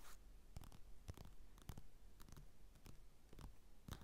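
Fingertips and nails scratch and tap on the cover of a flat glossy paper magazine lying on a table, with a mini mic resting on it, as a hand sweeps across. Quick, dry scratches and soft taps come in a steady run, close-up and mostly low and thumpy, with brief bright crackles on each stroke.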